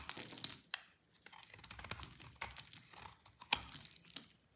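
A utility knife blade shaves and scrapes a solid, dry white and orange soap bar, making crisp, crackly scraping and crumbly crunching that is mostly high and bright. A few sharper cracks stand out as the blade bites and breaks through, and each one dies away almost instantly.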